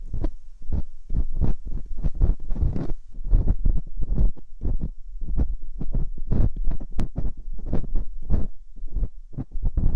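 Metal dental picks scratch deep inside the canals of both silicone binaural microphone ears, giving a dense run of close, muffled thumps and scrapes. The sound is almost entirely low, throbbing energy with brief bright rasps on some strokes, repeating rapidly with no pauses.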